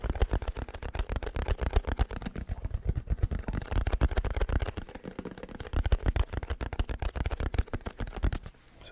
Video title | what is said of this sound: ASMR Tapping Video For YOU ⭐️ | So yeah, just classic, like carton tapping.